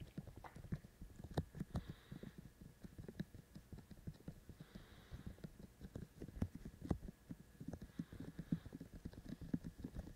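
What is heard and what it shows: Fingertips of both hands tap the white silicone ears of a binaural microphone in a quick rhythm. The result is a steady run of soft, dull, low thumps that stop short with no ring, at a quiet level throughout.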